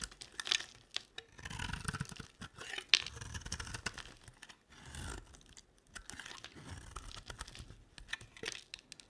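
A box-cutter blade shaves and carves a solid, rectangular, dry olive-green laurel-type soap bar held in the hand. The result is a steady run of bright, crisp scraping and crunching strokes, with a few sharp clicks and quiet pauses between cuts.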